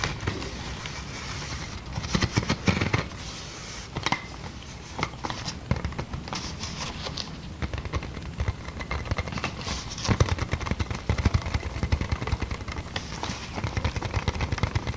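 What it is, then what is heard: Plastic air-cushion packaging. A large, clear, air-filled plastic inflatable air-column packaging sheet is tapped and pressed with long dark-painted nails. The result is a steady stream of quick, dull taps with scattered pops and crinkling plastic. Denser bursts come around the two-second mark and again after ten seconds.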